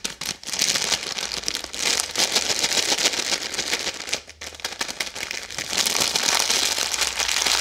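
A red, bar-sized plastic-film Maltesers bag full of chocolate balls is held in both hands and crinkled and squeezed with long yellow-painted nails and fingertips. A dense, bright crackling rustle runs almost continuously, with a brief dip just after four seconds before it swells again. The sound is dry and crisp, carrying mostly high frequencies with no low end.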